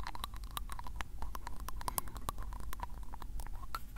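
A glass ink bottle with a black plastic cap is held in the hand while fingertips twist and tap the cap. The result is a rapid, uneven stream of small dry clicks and ticks, with a faint ring near 1 kHz and a steady low rumble underneath.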